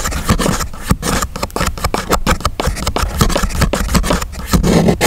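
A fingernail scrapes along the crease line of a thin grey chipboard sheet lying flat, while the other hand holds it down. The result is a steady run of dry, rasping scrape strokes with a heavy low-end body, separated by brief gaps.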